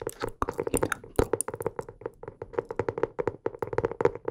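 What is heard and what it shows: A blue hardcover notebook is held upright while fingertips tap its cover in quick, irregular runs. The taps are short and dry with a hollow midrange tone and little ring, and they come in rapid clusters over about four seconds.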